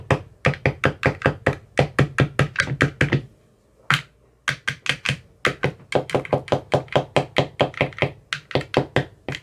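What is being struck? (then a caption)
Empty plastic ice cube tray with silicone cells. A hand-held metal rod with a white tip taps and knocks on the bottoms of the teal silicone cells in an empty clear plastic ice cube tray. It makes a quick, fairly steady run of short, dry thunks, each with a low, hollow body and a bright clicky edge that dies away almost at once. The run pauses briefly for a single tap, then picks up again.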